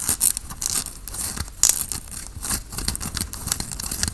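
Fingertips and nails scratch a worn grey tie-dye cotton t-shirt near the collar and sleeve. The result is a dense run of quick, dry, bright scratching strokes with a hissy, papery texture and occasional louder swipes. There is little low end and almost no ring after each stroke.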